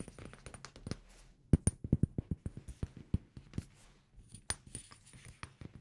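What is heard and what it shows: A small amber glass perfume bottle with a black cap and a paper label is tapped with fingertips and nails. The result is a quick, irregular run of short, dry taps with a pause in the middle: mostly low, soft knocks with sharp clicky edges and a faint high glassy tinkle. Each tap dies away almost instantly.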